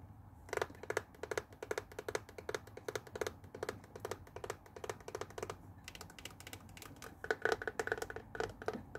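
Fingernails tap and scratch the hollow white and blue plastic body of a handheld Tefal garment steamer, with its printed label, held over a wooden table. A rapid, uneven series of short, light, clicky taps rings briefly in the midrange, with soft scratching in between. The taps grow louder and denser near the end.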